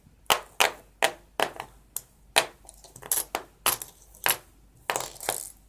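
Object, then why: Copper-plated penny coins. Bare fingertips slide, push, pick up and drop small, solid copper-plated penny coins spread loose on white paper over a wooden table, with stacks along the top edge. A series of sharp, bright metallic clinks and light scrapes sounds as the coins strike each other and the paper, each dying away almost at once against a quiet background.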